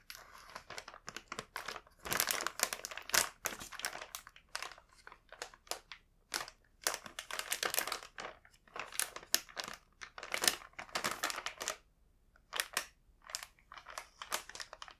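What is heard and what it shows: Fingertips rub and press the front of a full red plastic cookie bag near its label, producing bright, dry crinkling in dense bursts and short pauses. The sound is thin with almost no low end, and each crackle stops instantly.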